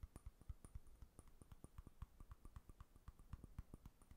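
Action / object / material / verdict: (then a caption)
tap / small glass jar with lid / glass / none. A small amber glass jar with a dark lid, hollow with unclear contents, is held up close and tapped and knocked with fingertips and nails. The result is a quick, uneven run of short, dull, low knocks, each with a faint bright click of nail on glass. Every tap dies away almost at once, with no ringing.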